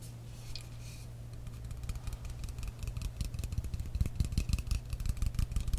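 Long manicured nails and fingertips tap on a tall frosted glass facial mist spray bottle with a metal cap, partly filled with liquid. Quick, uneven taps make soft low thuds with bright little clicks over a steady low hum. The tapping grows denser and louder toward the end.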